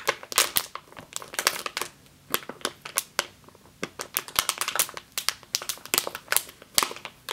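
Long green nails squeeze and scratch a medium clear plastic bag with a yellow label, full of flour or grain, resting on a table. Dense bursts of bright, dry crinkling come in quick irregular clusters, each snapping off with no ring. Short quiet gaps fall between them.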